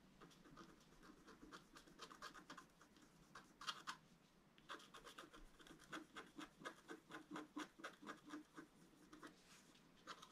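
A wooden stylus drags in long strokes across a thin, solid, flat black wax-coated scratch-art paper card. The result is a quiet, bright, papery scraping in an irregular series of short rasping bursts, with a brief louder pair of scratches partway through.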